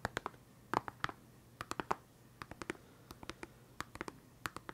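A small, hollow, transparent plastic case full of felt-tip pens is held in one hand and tapped and scratched with fingertips and nails. About 25 quick, dry, quiet clicks and scratches are heard in irregular bursts, each with a hollow midrange tone and almost no ring before the next.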